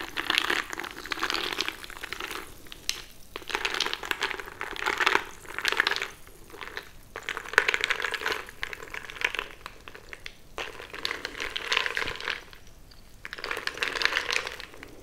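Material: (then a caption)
Ice, glass. A bamboo stick is pushed and stirred into crushed ice filling a frosted glass mason-jar mug with a handle, held in hand. Bursts of crisp crunching and grinding scrape against the glass in repeated waves, with brief quieter pauses between them. The sound is bright and gritty, with almost no low end.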